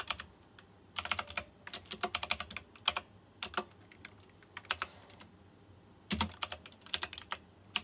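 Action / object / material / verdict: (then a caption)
tap / plastic mechanical keyboard with round metal-rimmed keycaps / plastic / none. Fingertips type on a white plastic mechanical keyboard with round chrome-rimmed keycaps. Quick bursts of sharp, bright clicks come with short pauses between them, and each click dies away almost at once.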